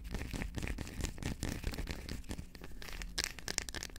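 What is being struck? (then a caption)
Dark chocolate bar. Long acrylic nails rapidly tap and scratch the back of a solid dark chocolate bar held in both hands. The result is a steady stream of quick, dry clicks and crinkly, crackling scrapes with bright, high edges over a low, muffled thumping from the handling.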